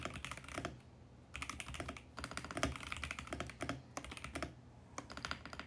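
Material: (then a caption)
Plastic. Fingertips type on a compact VGN X68 mechanical keyboard with purple, pink and mint plastic keycaps on a mint case. Its quick, bright plastic clacks come in bursts separated by short pauses, each stroke dying away almost at once over a faint low hum.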